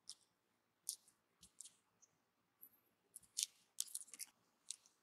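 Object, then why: Bar of soap carved with a thin metal knife. A thin metal carving knife slices and scrapes thin curls off the side of a solid, palm-sized pink bar soap, held in one hand and partly carved into a small bag shape. Quiet, crisp, bright scratchy cuts come in short separate bursts with near silence between them and no low rumble.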